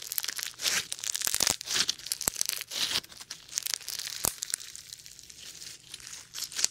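A lump of sticky foam bead slime is squeezed in the fist, pressed with the thumb, then stretched out by hand. It gives dense, bright crackling and crinkling pops in quick uneven bursts, with sharp snaps between softer squishy stretches and almost no low end.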